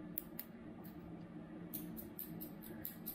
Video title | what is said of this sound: Vòi Lavabo lạnh Eurolife EL-LL115 dòng chảy mạnh mẽ. Cách khắc phục rò rỉ, thay van khi cần thiết. | Nếu mà nó có tiếng kêu thanh như xứ thì đó mới là đĩa Ceramic